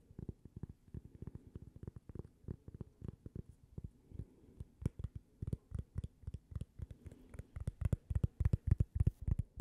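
A small, thin, solid toast-shaped cork coaster, held in one hand, is tapped and scratched with long painted fingernails. It makes a quick, uneven run of soft, dull, low thuds with faint scratchy clicks, each dying away almost instantly. The taps grow louder and busier toward the end.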